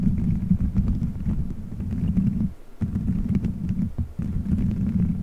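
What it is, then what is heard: Gummy bears squeezed on a microphone. Fingertips squeeze, rub and scratch colorful gelatin gummy bears stuck all over a microphone head, forming a solid dome. The result is a dense, muffled low rumble of squishy friction with faint sticky crackles on top. It drops briefly to near-quiet around 2.5 and 4 seconds before resuming.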